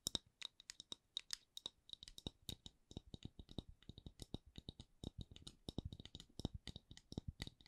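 A round, solid, palm-sized wooden candle lid with a printed logo is tapped and scratched with long acrylic nails. It makes a steady run of dozens of quiet, dry, clicky taps at a slow-to-medium pace, mixed with light scratching. Each tap is short with no ring, combining a low knock with a bright click near 3.8 kHz.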